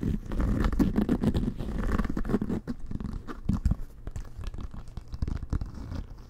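Fingernails scratch across the pebbled leather-like cover and laces of a full-size, inflated, hollow leather American football held in both hands. The result is a dense, irregular run of dry, crunchy scratching strokes with a heavy low-end, fading slightly quieter toward the end.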